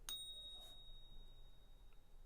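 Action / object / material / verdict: tap / silver bullion coin / silver / real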